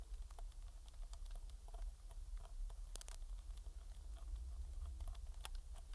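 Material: Plastic.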